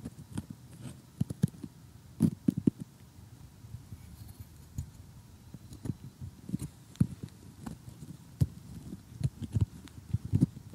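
Metal tweezers poke at and lift pieces of a glossy cardboard jigsaw puzzle of houses, with fingernails nearby. The result is a quiet, scattered series of short, dry taps and crunchy clicks with a low, muffled body and almost no ring.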